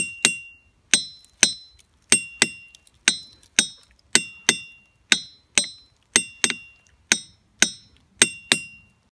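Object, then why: Rock boulder struck with a hammer. A ringing rock boulder at Ringing Rocks Park is struck 17 times, apparently with a hammer, in an uneven rhythm. Each strike gives a bright, metallic clink that fades quickly.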